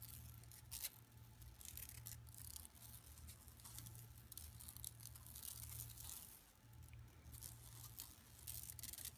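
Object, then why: Woven plastic mesh bag. Long nails scratch and tap across a flat, empty yellow woven plastic mesh tote bag lying on carpet. Dry, bright scratching and crinkly rasps come in quick irregular bursts over a steady low hum. The sound stays soft throughout.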